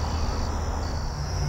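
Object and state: Nothing is struck.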